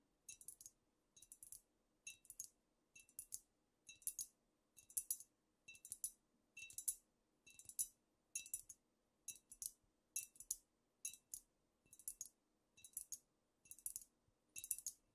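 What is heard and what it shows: Long nails tap the shoulders and sides of a squat amber glass cognac bottle with a paper label that appears to be full. The taps come in quick clusters of bright, dry clicks roughly once a second, each dying away almost instantly. The clip is quiet, with almost nothing in the low end.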